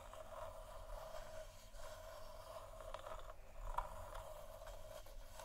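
Long nails scratch a large hollow, textured plastic moon lamp sphere, making a steady soft scraping rustle with a hollow midrange tone. A slightly sharper scrape stands out near the end before the scratching continues.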